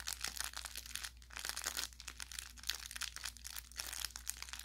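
A hand grips and squeezes the upper body of an orange velour plush carrot toy with crinkle filling, crinkling the filling inside. Dense, bright crackling and crunching comes in repeated bursts that rise and fall with each squeeze, over a faint steady low hum.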